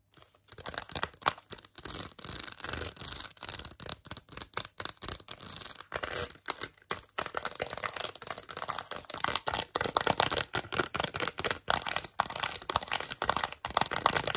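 A small, flat, printed cardboard card holding a set of plastic press-on nails is held in both hands and tapped and scratched with long acrylic nails, with rings on the fingers. The result is a fast run of dry, clicky taps and bright, rasping scratches with almost no low end. Each sound stops abruptly with no ring.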